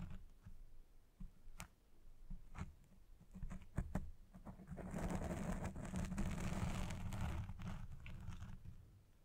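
Fingernails scratch a black foam windscreen on a Blue Yeti Pro microphone, producing scattered sharp scrapes and taps over deep, muffled rumble. Midway it becomes dense, continuous, louder scratching as both hands rub the top of the foam, then it tapers off at the end.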